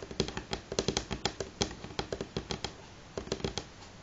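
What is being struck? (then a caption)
Wooden table top. Fingernails of both hands tap at moderate speed on a solid, light wooden table top. The result is a quick, irregular run of short, dry clicks with almost no ring, each carrying a woody tone around 390 Hz. There is a brief pause near the three-second mark before a final cluster of taps.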